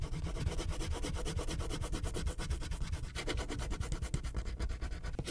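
A purple wax crayon rubs a thin paper coloring sheet resting on a clipboard in quick back-and-forth strokes around a poodle drawing, with the sheet rotated partway through. The result is a steady, fast, scratchy rubbing with a dense low rumble and faint bright grain, its level pulsing with each stroke and briefly dipping midway.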